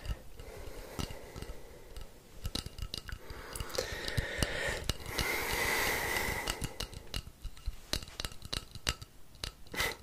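Fingers tap and scratch along the length of a long, hollow, painted wooden rainstick held upright. Quick, irregular dry taps and clicks run through the clip, swelling in the middle into a louder, sustained scratching rasp with a faint whistling tone around 2 kHz. The sound then returns to scattered sharp taps.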